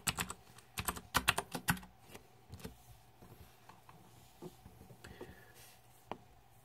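Fingertips type on a green-backlit Razer 2014 Deathadder mechanical keyboard with plastic keycaps, producing a quick burst of sharp, bright key clicks over the first two seconds. A few scattered, softer clicks follow, ending with a single crisp keystroke, 13 clicks in all, each stopping almost instantly.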